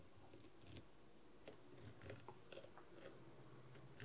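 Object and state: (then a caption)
Plastic rhinestone mask being scratched and tapped. A wooden skewer scratches and taps across the surface of a blue plastic masquerade mask covered in rhinestones and trimmed in gold, working near the eye holes. Soft, quiet scraping is broken by several short, sharp clicks and taps with brief bright edges.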